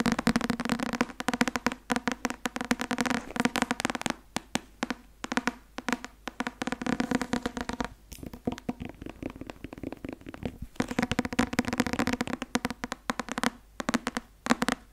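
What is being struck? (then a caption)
Thick paperback book with card cover. A thick paperback law textbook, "Öffentliches Recht", with a card cover and a solid paper block, is held upright while fingertips and nails tap on its cover. Dense, rapid clicky taps run in bursts with brief pauses, each tap short and dry with a low papery thud near 240 Hz and a bright crisp edge.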